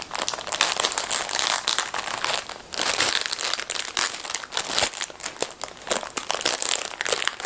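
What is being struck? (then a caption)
Plastic film packet of disposable gloves. A small, full blue plastic film packet of disposable gloves is gripped, crumpled and pulled at its top seam by hands in black fabric gloves. The result is dense, bright crinkling with some tearing of the plastic film, coming in bursts across the clip.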